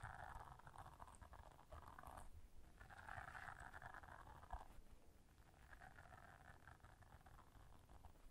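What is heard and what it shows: Long nails scratch and tap the bristles of a small, flat, round blue silicone scrubber brush lying on black fur. Soft, dense, rubbery scratching comes in three bursts with brief pauses between them, over a quiet low rumble, and the level stays low throughout.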